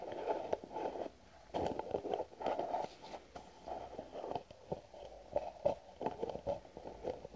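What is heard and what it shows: A white plastic cream jar with a green lid, held sideways, is tapped with fingernails. The result is a rapid, irregular series of short, dry clicks and taps with a hollow, midrange body and very little low end or bright top.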